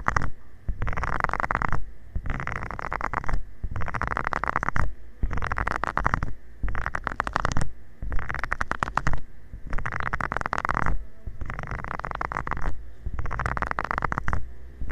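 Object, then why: Silicone scrubber pad with nubs. A covered fingertip rubs and taps across the small nubs of a flat, round green silicone scrubber pad lying flat. It makes close, dense scratchy rustling in repeated bursts, heavy with low, rumbling thumps, separated by brief pauses.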